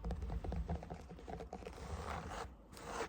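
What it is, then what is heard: Cork yoga block. A cork yoga block that someone is propped up on is tapped and scratched. Quick, dull, low thuds come first, then a softer, rough scratching rasp across its surface.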